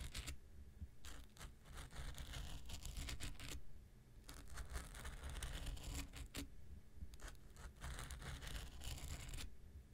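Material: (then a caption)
Foam. The tip of an X-Acto knife scratches a small, solid, rectangular pink nail buffer block with a gritty foam surface, held in one hand. It makes quiet, dry, raspy scratching in two long stretches, with a brief pause around the four-second mark. A steady low rumble sits underneath throughout.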